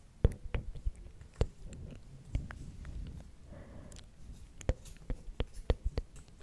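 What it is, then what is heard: Wooden clothespins. Several small wooden spring clothespins with metal springs, clipped onto the fingers of both hands, are clacked and knocked together. It makes an irregular run of sharp, dry wooden clicks with a dull low body and almost no ring. Softer rustling and knocking fills the gaps between the louder snaps.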